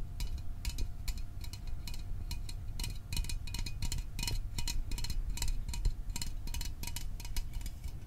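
A small printed aluminum Fanta soda can is held in both hands close to the microphone while fingertips and nails tap quickly on the can body. The result is a steady stream of light, dry metallic ticks with bright clicky edges that die away almost instantly, over a low rumbling background.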